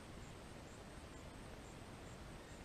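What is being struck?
Nothing is struck.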